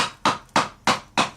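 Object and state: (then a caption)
Concrete block cracking under hammer taps. A hammer taps a concrete block along a line to split it, with four sharp, separate knocks that each ring briefly around a mid-high pitch. The change in the tapping sound shows the block is cracking, and the broken-off piece is used for fill.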